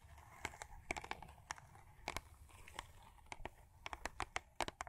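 Long acrylic nails scratch and tap a Crest toothpaste box of thin printed cardboard lying flat on a fur rug. Quick, dry, papery clicks and taps come in an uneven run over soft crinkly scratching, each one bright and cut off almost at once. The overall level is quiet and close.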